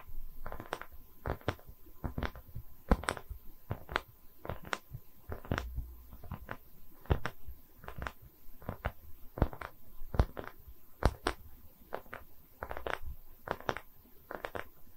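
A small round slab of solid wood, cut across the trunk with visible growth rings and used as a stand, is held in both hands close to the mic and tapped and scratched with long red-painted nails. Sharp, quick clicks with almost no ring stand out over soft scratching and dull low thumps, with no talking.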